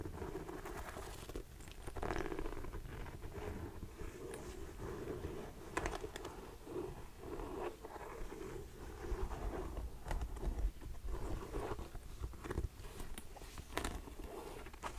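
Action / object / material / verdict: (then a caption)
tap / suede ankle boot with rubber sole / suede / none. Long nails tap and scratch an empty grey suede ankle boot, moving between its rubber sole and the suede upper. The sound is a soft, low, muffled patter of quick dull taps with brief scratchy brushes in between, each tap dying away almost instantly.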